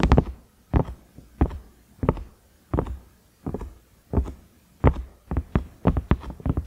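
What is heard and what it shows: Fingernails tap the round knob and ridges of a large cream ridged silicone microwave lid. The taps are soft, dull and low, with very short decay, and come in uneven clusters of single and double taps over a quiet background.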